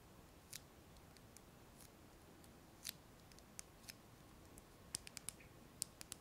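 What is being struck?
Small hollow clear plastic box.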